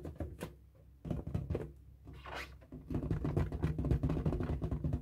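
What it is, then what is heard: Latex balloon being scratched. A light blue inflated latex balloon, hollow and air-filled, is held in both hands while fingertips and nails rub and scratch its taut rubber surface. The result is a low, resonant patter of rubbing and scratching strokes with dull thumps, sparse at first and then denser and louder through the second half.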